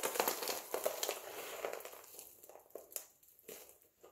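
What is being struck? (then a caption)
Dry soap flakes. A pile of multicolored dry soap flakes is crushed and rubbed with fingertips and palms. The result is a dense, dry crunching and crinkling, bright and crisp. It is busiest and loudest at the start, then thins into scattered sharp crackles that fade toward the end.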